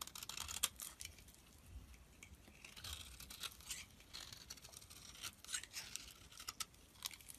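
A utility-knife blade scrapes and carves thin flakes from the top and edge of a solid lilac soap bar held in the palm. The result is a quiet run of dry, bright, crisp scraping and crackling strokes with very little low end.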